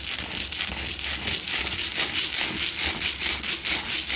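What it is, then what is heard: Himalayan salt candle holder being scratched. Long nails scratch the front and top edge of a lit, solid pink Himalayan salt block double candle holder. The result is a steady run of rapid, bright, gritty scratching strokes, mostly high-pitched with almost no low end.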